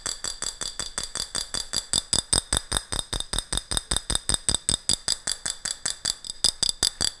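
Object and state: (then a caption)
Empty glass jar tapped with fingernails. Long fingernails tap and scratch a medium, ribbed, clear glass jar with a gold metal lid, held hollow and empty in front of the mic. About 38 quick, bright clicks come in a steady but slightly uneven rhythm, each with a high glassy ring that dies away almost at once.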